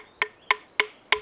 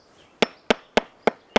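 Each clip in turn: First: Four sharp, bright hammer taps on rock, each dying almost instantly: solid rock, not hollow. Second: Five sharp hammer taps on rock, each a dull, broad clack that dies at once, revealing a hollow, detached flake.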